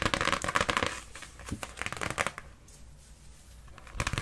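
A thin folded cardstock birthday card reading "A Birthday Poem Just For You" is held upright in both hands and tapped quickly on the front with long pink acrylic nails. The result is rapid, dry, papery clicks and scratchy taps with a bright crinkly edge, dense at first and then thinning out before a final burst.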